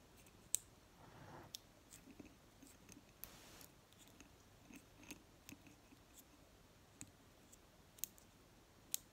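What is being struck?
Glass candle jar.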